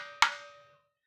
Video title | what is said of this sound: 01793505602 ভালো মানের আম কাঠের ঢোল পেতে হলে এখনই অর্ডার করুন কানাই মিউজিক্যাল সেন্টার জয়গুরু | মন্দিরে যেরকম এই জোড়া দিলে টং করে ওটা একটা শীষ মারে